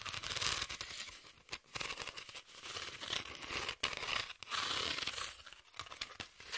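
Long nails scratch across the exposed ridges of a flat sheet of corrugated cardboard held horizontally. The result is a dry, bright, crackling rasp in sustained bursts, separated by a few brief pauses.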